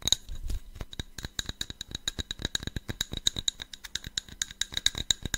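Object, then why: Cut glass tumbler. A small, hollow, empty cut-glass tumbler with a faceted pattern is held in the hands near the mic and tapped and scratched with fingernails. The result is a rapid, steady run of sharp, bright clicks with almost no ring, centred around 3.8 kHz with high sparkle above, over faint scratching between the taps.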